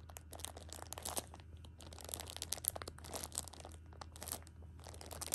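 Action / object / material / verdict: scrape / pocket tissue pack in plastic film / plastic film / none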